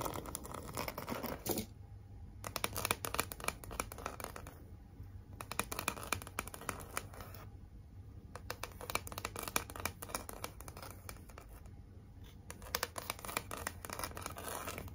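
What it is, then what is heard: Glitter cardboard heart sign. Long acrylic nails on two hands scratch and tap across a large, flat, pink heart-shaped "Be Mine" sign, likely cardboard, with raised red glitter lettering. Dense, crackly scratching comes in bursts, broken by short quieter gaps near 2, 5, 8 and 12 seconds. The sound is dry, close-up and papery with a faint low hum underneath.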